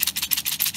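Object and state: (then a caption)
Metal spice tin with its contents still inside. A vintage 1930s–40s metal spice tin from an estate sale, made by Aunt Nellie for the Harrisburg Grocery Company, is shaken. It gives six dry, hissy rattling-and-rubbing pulses, mostly high-frequency, that show the original spice is still inside.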